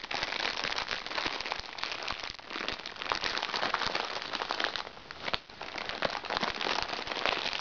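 Red-painted nails scratch and press the surface of a crinkly plastic package lying flat on a lap. The result is a dense, steady stream of bright crinkling and crackling with little low end, easing briefly near the fifth second before picking back up.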